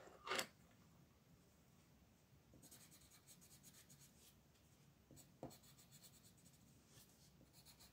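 An orange-yellow colored pencil scratches and rubs a flat paper coloring book page on a table, making small strokes on the leaves. A sharp, bright scrape opens the clip, followed by soft, steady papery scratching with a brief louder scratch near the end.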